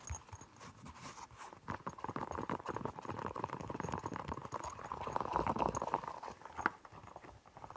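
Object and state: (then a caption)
Silicone pop-it fidget toy. Fingertips repeatedly press and pop the hollow bubbles of a round, hand-sized, pastel rainbow silicone push-pop fidget toy. The result is a fast, uneven run of soft, hollow clip-clop-like pops, each centered around 1.4 kHz, that grows a little louder mid-clip. By the end the toy is lifted near the head.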